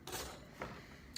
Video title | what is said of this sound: No Knead Bread At Home | give it a tap. What you're listening to here is a hollow sound.